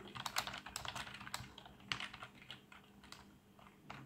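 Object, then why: Plastic membrane computer keyboard. Fingertips type on a black plastic membrane keyboard with RGB backlight, producing a quick run of soft, bright, clicky key taps. Each tap dies away almost instantly, with a faint steady low hum underneath.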